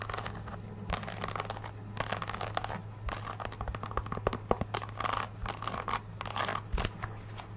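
Long acrylic nails tap and scratch the tan, textured synthetic rubber sole and footbed of an empty, hollow nude ballet flat. The result is a quick, dense run of dry clicks and scraping crackles with very short decay, over a steady low hum.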